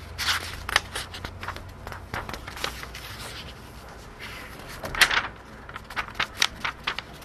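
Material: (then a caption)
Paper. Thin printed paper pages of a large open hardcover *Advanced Dungeons & Dragons Oriental Adventures* rulebook are turned, with both hands holding the edges while fingertips rub and slide across the pages. Bright, crackly rustles and soft scrapes come in uneven bursts, with a few sharper page flicks standing out above a quiet low hum.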